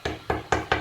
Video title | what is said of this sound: [타일시공] #퍼스트스킬,#퍼스트하우스h,#망치잡은사나이 | 벽 같은 경우는 이렇게 통통통 소리가 나는데 이제 이런 부분에 대해서 저희가 이제 소리만 들어도 어떤 구조인지 대충 알 수는 있습니다